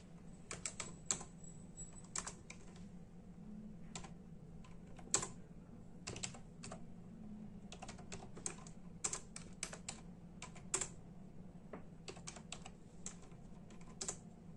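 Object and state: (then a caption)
Plastic computer keyboard. Steady tapping on a full-size black and silver plastic membrane computer keyboard with hollow keys, typed with the bare fingertips of both hands. Quick, bright, hollow clicks come in irregular bursts over a constant low hum, each click dying away almost at once.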